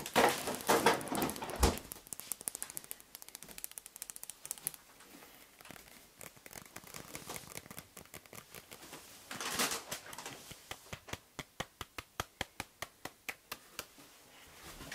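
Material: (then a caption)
Plastic. A partly filled, soft plastic mayonnaise squeeze bottle with a red cap is held in the hand while the fingers squeeze it and rub its plastic wrapper. Loud, bright crinkling opens the clip and is followed by quieter scratchy rubbing with light taps. A short crinkle burst near the middle leads into a steady run of sharp, clicky ticks.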